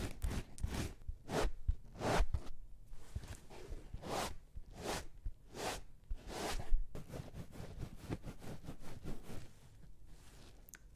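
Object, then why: Porous foam bath sponge. Long nails scratch and squeeze a soft, palm-sized, round yellow porous bath sponge with a white cord loop, held close to the microphones. A steady run of soft, rasping swishes and crinkly scrapes rises and falls in quick bursts over a low, muffled rumble, with little high, bright content and no ringing after each stroke.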